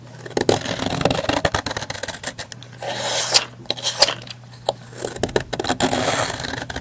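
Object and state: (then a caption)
Soap bar shaved with a knife. A metal knife blade shaves thin curls and flakes off the top of a long, solid, opaque pink soap bar lying on a white surface, leaving a ridged surface. Dry, bright scraping strokes come in quick bursts with short, sharp crackles and no ringing. A faint low hum runs underneath.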